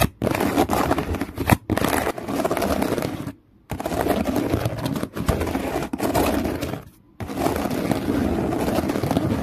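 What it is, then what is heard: Woven plastic basket scratched with fingernails. Fingernails scratch along the weave on the side of a hollow woven plastic strap basket resting on a towel. The result is a dense, rough rasping scrape with a hollow tone, broken by a few short pauses.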